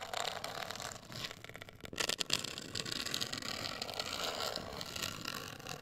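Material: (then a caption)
Cardboard. Long acrylic nails scratch and tap a black printed, rigid, hollow cardboard cosmetic box of medium size. The result is a steady bright, dry scratching with a short run of louder, crisp taps near the middle, each dying away almost instantly, and little low-end weight.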